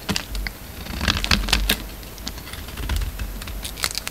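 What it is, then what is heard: Soap bar being shaved. A utility knife blade shaves and scrapes a partly carved, hand-held solid white soap bar with a black coating. The result is a quick run of short, dry, crisp scraping ticks and crackles with a bright edge and a low rumble underneath.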